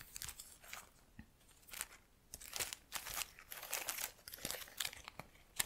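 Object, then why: Artificial plant with plastic leaves. An artificial plastic plant in a black pot has its leaves rubbed and flicked by long nails. The result is an irregular run of dry, crinkling, crunchy rustles with bright, high hiss and quick clicks that stop almost at once, at a quiet level.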